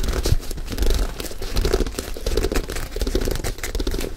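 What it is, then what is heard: Leather sneaker, scratched and tapped. A single white leather high-top sneaker, hollow and empty, is held sideways in both hands while fingertips and nails scratch and tap its perforated leather upper and rubber midsole. A steady run of dull, low hollow taps mixes with dry, crinkly scratching rustles and brief brighter clicks, in an uneven, continuous rhythm.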